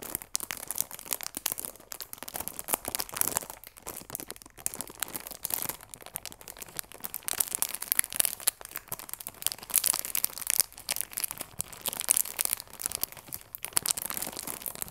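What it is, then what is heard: Cellophane-wrapped cardboard box being crinkled. Fingertips and nails rub and crinkle the clear plastic film wrapped around a cardboard chamomile tea box. The result is a steady stream of bright, dry crackling and crinkling with tiny sharp snaps and almost no low end, swelling and easing in loudness over the whole clip.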